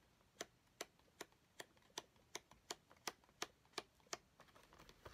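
Fingernails of both hands tap quickly on a flat cardboard nail-charms kit box lying on a table. Eleven sharp, bright, dry clicks land at a steady pace with almost no ring, then a flurry of quicker, softer taps follows at the end.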